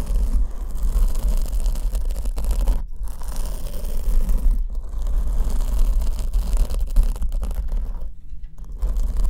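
Long almond-shaped nails scratch the surface of a large black foam windscreen on the left microphone, which is held from the side. The result is a continuous, dense scratching and rustling with a heavy low rumble, broken by brief quieter gaps near 3, 4.6 and 8.3 seconds.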